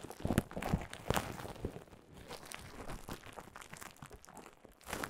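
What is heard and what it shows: Clear plastic bubble wrap laid over a microphone is crinkled and scratched with long nails, giving close, irregular crunchy crackles and scratches. Louder bursts come at the start and again near the end, with softer rustling between.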